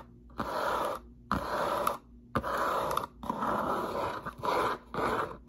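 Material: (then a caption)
Cardboard. Long nails tap and scratch the top and front of a hollow, medium-sized, closed brown corrugated cardboard box, first held up and then resting on a table. The result is a series of dry, rasping scratch bursts centered in the midrange with a bright, hissy top, separated by short near-silent pauses and punctuated by a few sharp taps.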